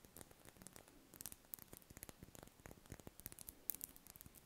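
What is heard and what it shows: Long red nails scratch a large, solid, cream-coloured spherical wax candle held in the hands. The result is a quiet, rapid run of short, dry scratches and clicks with a bright, crackly edge and a soft low rumble underneath. Each sound stops at once with no ring.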